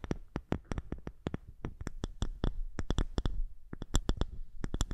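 Long fingernails tap and scratch the top of a round, dark wooden lidded box, likely hollow, held close to the microphone. A quick, irregular series of short, dry taps sounds with a soft, low, hollow thud beneath, and faint scratching fills the gaps between them.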